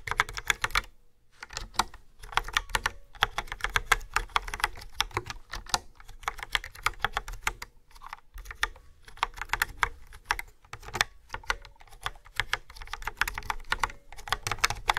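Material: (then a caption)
Plastic. Fingertips with nails type on a yellow and black plastic retro keyboard with round dark keycaps and a hollow housing. Bursts of quick, bright, clicky key taps with short, dry decay are broken by brief pauses.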